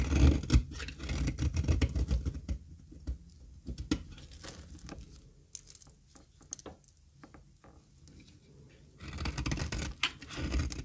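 A solid square bar of dry cream olive oil soap is held in the hand and shaved into curls with a metal box-cutter blade. The result is a quick, irregular run of dry scraping and crisp shaving strokes, mostly low and muffled, with bright scratchy edges. The strokes are louder and denser at the start and end, and softer and sparser in the middle.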